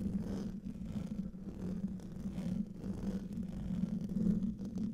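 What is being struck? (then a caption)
Metal mesh microphone grille. Fingertips and nails scratch the top of the hollow metal mesh grille on a silver condenser microphone. The result is a steady, muffled rumbling scrape, heavy in the low end with a droning tone around 170–200 Hz. It swells and dips slightly in loudness without distinct separate hits.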